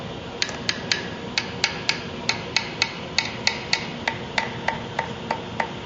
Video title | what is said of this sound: Parker Fly - How To Do A Fret Repair | dead sound can you hear the difference sounds like wood